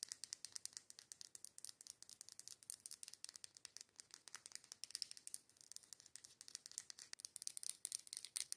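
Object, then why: Glass candle jar filled with wax. Very long yellow acrylic nails rapidly tap and scratch the sides of a medium matte dark-green glass candle jar with a white label and a cork lid, filled with candle wax. The result is a quiet, fast stream of sharp, bright clicks and scratches with no low end, each dying away almost instantly without ringing.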